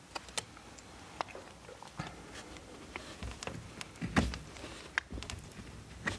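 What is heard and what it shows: A steel knife blade carves and scrapes a solid blue bar of soap held in the hand. The result is quiet, scattered, short scratchy clicks and crackles over a low, soft background. A louder, denser scrape comes around the fourth second.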